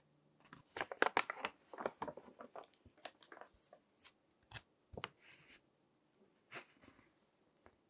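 Fingertips flip the pages of a thick, crinkled glossy paper magazine resting on a table, crinkling the paper. Quick, dry crackles and rustles come in uneven bursts, bright and papery with almost no low end, separated by short silences.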